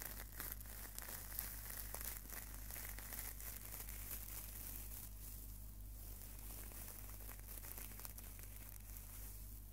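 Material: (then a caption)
Stainless steel. A small, hollow-mesh stainless steel wire scouring pad is squeezed and crunched by fingertips right next to the microphone. It makes a continuous, quiet, bright crinkling and crackling with irregular little crunches, over a steady low hum.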